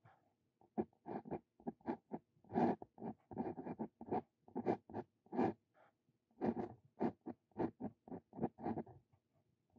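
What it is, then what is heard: Paper scratched by a steel dip pen nib. A Brause Cito Fein steel dip pen nib scratches across a sheet of lined paper while writing Korean characters. Quiet, short, dry scratching strokes come in quick bursts, with brief pauses between groups of strokes.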